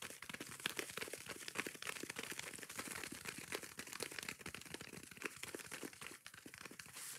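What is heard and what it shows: Long nails scratch quickly across the green abrasive side of a yellow foam kitchen sponge with a green scouring pad, held in one hand. A dense, fast run of dry, bright scratchy crackles continues without pause at a quiet level, with almost no low end and no ring after each stroke.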